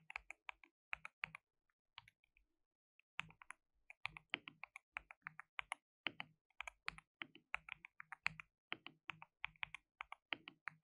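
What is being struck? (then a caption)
Plastic mechanical keyboard keys. Fingertips rapidly type on a white, RGB-backlit compact mechanical keyboard with plastic keycaps and a hollow case. About fifty crisp, bright clicks come in quick bursts, with a short pause near the two-second mark. Each keystroke is dry and snaps off almost instantly, with very little low-end thump.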